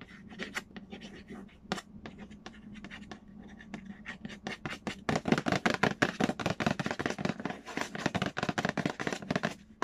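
Fingernails scratch and trace across the printed lid of a large, hollow cardboard Payday board game box. Soft, sparse scraping strokes in the first half give way to louder, rapid, uneven scratching and tapping with brief, dry bursts and no ring.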